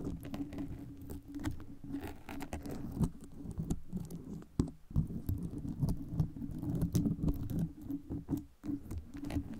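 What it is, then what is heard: Foam microphone cover with metal pins. Long red nails scratch and tap the gold metal pins all over a red foam microphone cover. The result is a dense, steady patter of short, dry clicks and scratches, heavy in the low end, with a faint sustained tone underneath and a few louder taps standing out.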